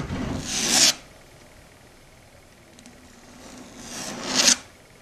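Long red stiletto nails scratch and rasp across a flat, solid dark grey chalkboard surface. Two bright, harsh scraping strokes are heard: the first swells over about a second and cuts off sharply. After a quiet gap, the second builds gradually and ends abruptly near the four-and-a-half-second mark.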